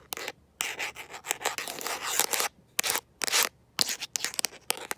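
A smartphone in a mint-green rubber and plastic protective case, held in one hand, is tapped and scratched by long nails fitted with metal paperclips. Bright, crisp scraping and clicking bursts come in quick clusters separated by short silences, with almost no low end.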